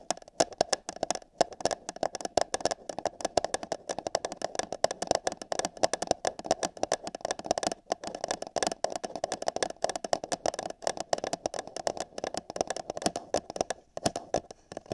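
Long nails rapidly tap the wall of an empty, hollow paper cup held over a binaural microphone's ear. The result is a dense, irregular stream of short, dry clicks with a hollow mid-range tone around 680 Hz and a bright papery edge, with almost no low end.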